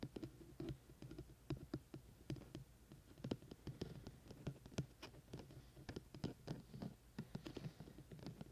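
Fingertips tap quickly on the sides of the white silicone ear shells of a hollow, dome-shaped binaural microphone with a black plastic body, held in both hands. A rapid, quiet series of soft, dull taps is heard, each dying away almost at once, with most of the sound low and thumpy and only faint bright clicks on top.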